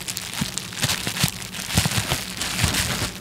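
A small sheet of clear plastic bubble wrap is held by the fingertips of both hands close to the microphone, crinkled and squeezed. Bright, crackling crinkles and soft pops come in irregular bursts over a steady rustle, with brief low thumps as the fingers press the sheet.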